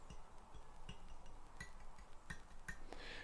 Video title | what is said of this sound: Barracuda black-out | if you can hear that little ticking noise, you're in good shape.